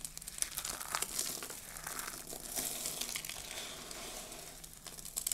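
A loose heap of small, dry pink soap shavings on a dark table is pressed and squeezed by fingertips with long blue nails, crushing the flakes. The result is a steady, dense crinkling crunch made of many quick, bright crackles that continue throughout, with a few sharper snaps near the start and end and almost no low end.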